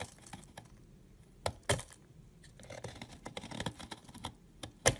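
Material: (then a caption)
Soap. A solid yellow egg-shaped soap bar, held in the fingers, has thin shavings cut off with a utility knife blade. Soft, dry scraping and cutting sounds run throughout, with a few sharper, louder crisp cracks as the blade slices through.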